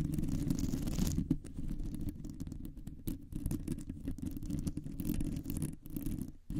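Long nails slowly scratch a round, hollow metal mesh microphone grille. The sound is a dense, rough scraping with a heavy, muffled low rumble and brief bright hiss in the opening second. It continues as irregular strokes with short gaps, dipping near the end before a final scrape.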